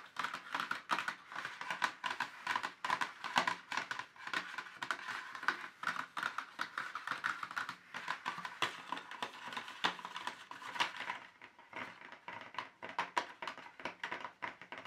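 Fingertips and short nails of both hands tap rapidly on an empty, hollow, thin molded black plastic insert tray from a paint set. The result is a dense, continuous patter of light, dry clicks with a hollow midrange tone around 860 Hz. Each tap dies away almost instantly, with a little bright edge on top.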